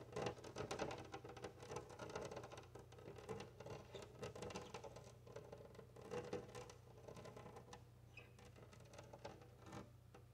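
Long nails tap and scratch rapidly on a large, flat glass window pane while both hands press against the glass. A dense, quiet patter of sharp little clicks and scrapes continues for about ten seconds, with a faint ring near 430 Hz, over a steady low hum.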